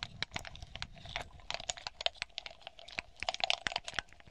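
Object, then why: Cluster of small hollow glass balls. Long polished nails tap and scratch across a hand-sized cluster of small hollow smoky glass balls with green glitter leaves and a ribbon. Rapid, bright clicks and light scraping sounds come in quick succession, with a faint ring around 700 Hz. Each tap is sharp and dies away almost instantly.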